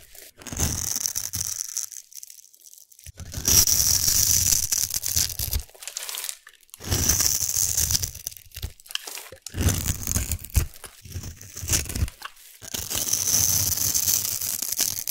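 A metal blade scrapes and carves a solid black glittery soap cube held in the hand, its surface scored in a grid pattern. Five stretches of dense, crisp crunching and tearing scrapes come through, bright and hissy with a low rumble underneath, separated by brief near-silent pauses.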